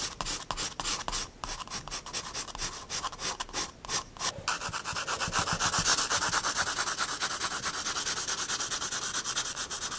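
A pencil shades a paper sketchbook page with dense strokes, rubbing across the paper in quick back-and-forth scratches. At first the strokes come in short bursts with brief gaps, then they blend into a steady, louder, bright hiss of continuous shading with little low end.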